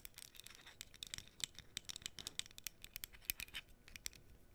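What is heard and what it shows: Long nails scratch and tap the surface of a small, flat, printed cardboard menorah decoration held close to the mic. The result is a quiet flurry of dry, crisp, bright scratches and clicky taps, many of them sharp and very short.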